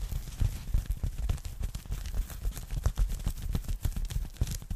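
A thin, flat, empty pink polyethylene foam packing bag is held up and rapidly tapped and scratched with long nails. The result is a dense run of soft, low, muffled taps with crinkly high-end scratching.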